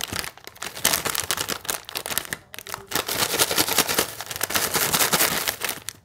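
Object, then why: Plastic foil snack wrapper. A small sealed, full plastic/foil Hide & Seek Fills biscuit wrapper is held in both hands while fingertips squeeze, crinkle and turn it over. Dense, bright crinkling crackles come in quick clustered bursts, with a brief near-silent pause midway before the rustling resumes.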